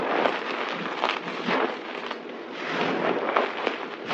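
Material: Soap.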